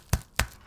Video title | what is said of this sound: Irish People Try Harry Potter World Candy | That's not hollow. - Solid chocolate.